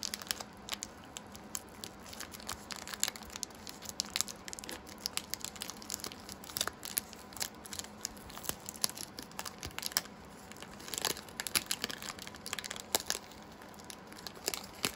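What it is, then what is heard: Foil plastic booster pack being crinkled and torn. Fingertips pinch, crinkle and rip the foil edge off the top of one small metallic foil plastic booster pack of Pokémon Shining Fates cards, full of cards. Dense, bright crinkling and sharp tearing crackles come in quick, dry bursts with almost no low end and no ring-out.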